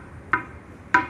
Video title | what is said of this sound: Old Column Repair with Chemical Treatment - Crack Fixing Step by Step | మామూలు M20 grade అయితే ఈ సౌండ్ మీకు 21 డేస్ క్యూరింగ్ తర్వాత వస్తుంది